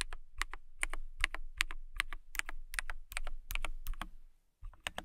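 Someone types on a transparent acrylic mechanical keyboard with a clear acrylic case and clear plastic keycaps, using long nails and fingertips. The keystrokes are short, sharp, clicky taps with bright ticks centered near 2 kHz and a low thump beneath, at an uneven pace. The typing pauses briefly just before the end, then resumes.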